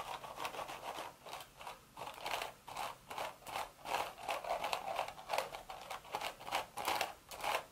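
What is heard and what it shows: Long red nails scratch the hollow woven crown of a cream straw hat in a steady run of short, dry, crackly strokes. The scratches are bright and rustling, centered in the midrange with almost no low end. Each stroke is quick, with little ring-out between them.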